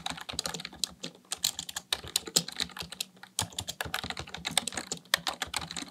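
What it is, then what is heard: Plastic computer keyboard. Fingertips type rapidly on a black plastic full-size computer keyboard resting on a desk. The result is a dense stream of quick, bright, dry key clicks and clacks with almost no ring and very little low end.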